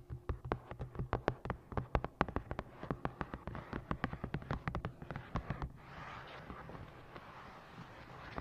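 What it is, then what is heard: Hardcover book tapped and scratched with nails. A medium-size, solid hardcover book with a navy moth-and-moon printed cover is held upright on the microphone and tapped with long green-painted nails and fingertips. A quick run of sharp, dry taps with a low thump and almost no ring fills the first five and a half seconds. Then the nails and fingertips scratch across the cover in a steady, brighter rustle.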